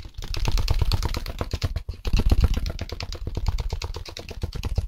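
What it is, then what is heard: Styrofoam packaging insert. Gloved fingertips rapidly scratch and tap a held white styrofoam packaging insert, a solid foam slab, producing a dense run of quick, dry, clattering taps. The sound is mostly low and thuddy, with short bright scratchy edges and almost no ring, pausing briefly just before the 2-second mark before continuing.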